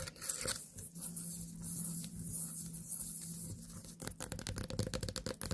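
Long nails scratch the top and stem of a small white pumpkin standing on a table. A soft, continuous raspy scrape with a faint low hum runs for about four seconds, then gives way to quicker, sharper, crackly scratches with a bright hiss.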